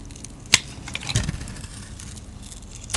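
A solid light-blue soap bar, held in the hand, is carved and scraped with a utility-knife blade, taking off thin shavings. Sharp, bright crackling scrapes stand out over a soft, steady hiss, with a duller, fuller scrape in the middle.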